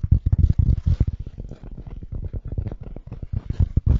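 Fingertips with short nails scratch and tap the felt surface of the crown and brim of a medium-sized black wool-felt hat with a hollow crown, held in the hands close to the microphone. The result is a rapid, irregular stream of soft, muffled low thumps with faint brushing scratches between them, each tap dying away almost at once.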